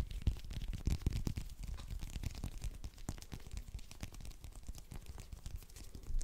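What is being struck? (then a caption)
Whole orange with textured peel. Fingernails scratch and tap fast on a whole small orange held in the hands, its solid fruit and textured peel close to the microphone. The result is a dense stream of quick, dry taps and rustling scratches, heavy in low thumping rumble with brief bright clicks. The level stays fairly steady, with a louder burst near the end.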